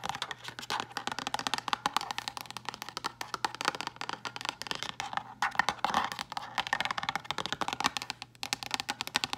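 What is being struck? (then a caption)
Frosted plastic storage box. A hollow, rigid, frosted translucent plastic storage box is tapped rapidly with long green acrylic nails. The result is a dense stream of dry, bright clicks that stop almost instantly, with no ring, over a faint steady low hum.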